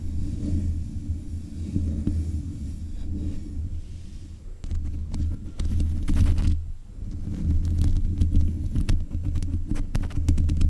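Long nails scrape the metal mesh grille on the head of a black USB condenser microphone. The result is a dense, low, throbbing rumble with scratchy grain and occasional sharp bright clicks, easing briefly partway through before building again.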